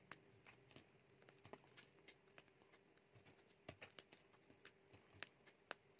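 A metal utility knife blade shaves thin slices off a solid, dry mint green bar of soap, and then the fingers break off the remaining piece. The result is a quiet, irregular run of short, crisp, bright scraping and snapping clicks with very little ring, over a faint steady hum.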